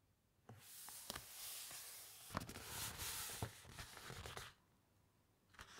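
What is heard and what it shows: Long nails and fingertips rub across the thick uncoated paper pages of a large open hardcover encyclopedia and turn them. A bright, papery rustle runs steadily for about four seconds, broken by sharp crisp ticks and snaps. It then drops to near silence before one last brief rustle at the end.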